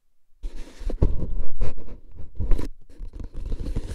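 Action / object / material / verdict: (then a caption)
scrape / paper-wrapped cardboard tube can with a metal lid / cardboard / none. A hollow, paper-wrapped cardboard tube can with a metal lid stands upright while fingertips lightly tap and scratch its side and lid rim. The result is a dense run of soft, dry scraping and scratching with hollow, low thuds and brief crunchy rustles throughout.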